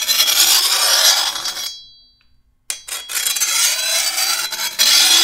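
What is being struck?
Steel machete blade.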